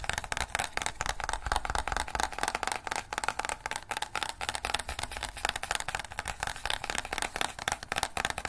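A small, hollow, green plastic crocodile dentist toy is held in both hands while fingers press its teeth and snap its jaw. The result is a rapid, steady stream of short, dry mechanical clicks and rattles with a bright, mid-high tone.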